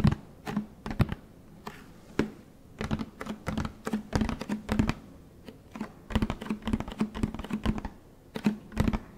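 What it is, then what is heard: Plastic detergent jug. Fingertips tap the side of a large orange plastic Tide detergent jug with a blue cap, hollow-sounding with its fill level unknown. Quick, dry taps come in irregular bursts and rapid flurries, each with a dull, low thump and a very short decay, plus a faint steady low hum underneath.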